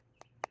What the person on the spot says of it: so this is glass back here even though it sounds like plastic and feels like plastic to a degree